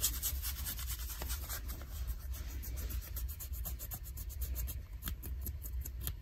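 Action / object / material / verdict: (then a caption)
scrape / denim jeans / denim / none. Fingers and nails scratch and pick at the frayed hem of ripped light blue denim jeans, making a steady run of dry, bright rasping strokes. A constant low hum sits underneath the scratching throughout.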